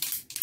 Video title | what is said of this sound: How to achieve an Instant Full Coverage of Grey or Dark Roots for £1 / Sam Bakeer | there's something in there can you hear that guys there's something inside